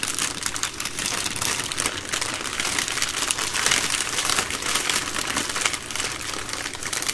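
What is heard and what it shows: A plastic-wrapped baby wipes multipack, a bundle of three full soft plastic wipe packs, is tapped and scratched with long green nails while hands squeeze the crinkly plastic. The result is a steady, dense stream of bright crinkling and crackling with quick tapping clicks and very little low end.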